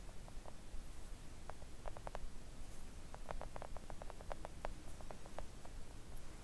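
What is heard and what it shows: Long acrylic press-on nails tap gently with both hands on a flat, thin, solid pink silicone mat printed with nail designs, lying on a table. Soft, quick mid-range ticks come in irregular runs over a steady low rumble.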